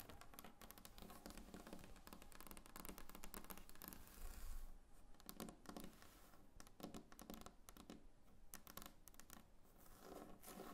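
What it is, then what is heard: Varnished wooden table. Long painted nails tap rapidly across a large, solid, glossy varnished wooden tabletop. The result is a dense, quiet stream of short clicky taps and light scratches with a low, dull body, each tap dying away almost at once.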